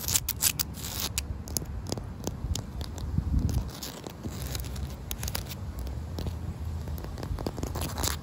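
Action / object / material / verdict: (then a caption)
tap / concrete paving stones / concrete / none. Short painted nails and fingertips tap and scratch damp, solid outdoor concrete paving stones, moving over the surface and into the joints between them. Quick, sharp clicks and bright, crackly scrapes come in an uneven stream over a steady low rumble, each tap dying away almost at once.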